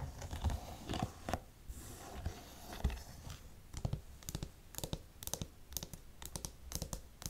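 Long nails tap and scratch a black studded faux suede boot, moving over the shaft, the studs and the heel area. Quick, dry taps and soft scraping scratches follow one another, with brief brushy passages between the sharper clicks.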